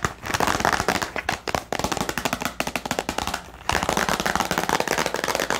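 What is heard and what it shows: Long painted nails tap rapidly on a small, hollow clear plastic storage box held in both hands, with a pen and white paper items inside. The result is a dense run of sharp, dry, bright clicks with almost no ring, easing off briefly just before the four-second mark and then picking back up.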